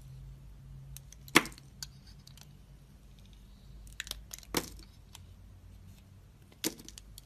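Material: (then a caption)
Soap. A box-cutter blade scrapes leftover red coating off a solid white soap bar held in the hand and carves into the soap. Three sharp, bright cutting cracks stand out among lighter ticking scrapes over a faint low hum in a quiet setting.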